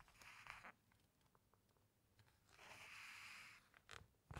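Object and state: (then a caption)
Glossy book pages rubbed. Fingertips and nails rub and slide across the glossy photo pages of a large hardcover book, making two broad, bright swishing rubs with a steady hiss centered around 2 kHz. Faint ticks fall between the rubs, and a few short, sharp scrapes come at the end.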